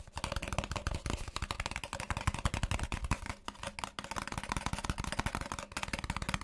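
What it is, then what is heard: Paper coffee cup tapped and scratched. Fingertips and nails rapidly tap and scratch the side of a hollow white Starbucks paper coffee cup with a plastic lid, held in one hand. The result is a dense, fast stream of short, dry taps with scratchy high-end texture over a low, hollow thump, keeping up a steady busy rhythm throughout.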